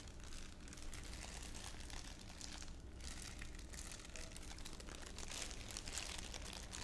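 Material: Plastic film.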